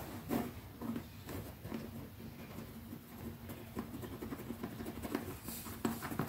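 Long nails scratch and rub across the top and edge of a small, closed black leather zippered pouch held flat on fingertips. The result is a soft, steady scratching with brief tapping clicks and a faint low hum beneath it.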